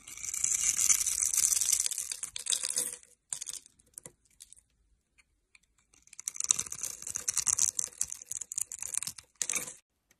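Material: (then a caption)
Soap. A metal blade scrapes and cuts across the grid-scored surface of a solid rectangular bar of blue and white striped soap held in the hand, knocking small soap cubes loose. Dense, bright, crisp scraping and crackling comes in two long bursts with a few short, quiet scrapes between them.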